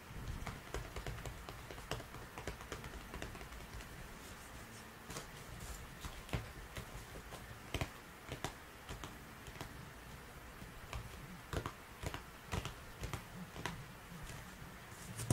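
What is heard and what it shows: Fingertips and short nails tap and scratch a small printed cardboard box of disposable gloves held in bare hands, with a plastic spray bottle standing nearby untouched. Quiet, dry taps and papery scratches come in an irregular stream, each tap dying away almost at once, over a steady low rumble. A few sharper taps stand out with bright clicky edges.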